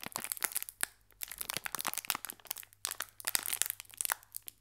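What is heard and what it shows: Fingertips squeeze and crinkle a small green metallized plastic/foil biscuit wrapper with a biscuit inside, held in both hands, while a second pack lies still on the table. Bursts of sharp, bright crackling and crunching come in quick clusters, separated by brief near-silent pauses, over a faint steady low hum.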